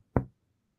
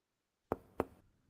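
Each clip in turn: First: resonant lung on chest percussion. Second: tympanic percussion note over the stomach.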